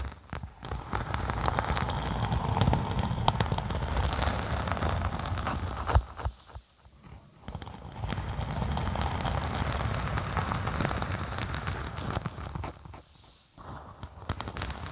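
Long nails on both hands scratch and tap the scaly printed surface of a thin, flexible faux snakeskin sheet (vinyl or faux leather) lying across the top of a microphone. The result is a dense, rapid crackling rasp with a heavy low thump and only a little brightness. The sound stops briefly twice before resuming.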